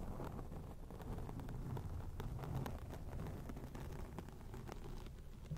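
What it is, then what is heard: Foam microphone windscreen being scratched. Long acrylic rainbow nails scratch across a grey foam microphone windscreen. The result is a steady, dense, low rumbling scrape with faint brighter crackles scattered through it.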